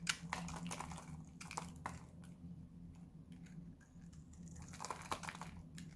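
A solid white bar of dry soap is held in the hand and cut and scraped with a metal knife blade. Irregular, dry crunchy scrapes and short sharp clicks come in quick bursts, loudest at the start and near the end, over a steady low hum.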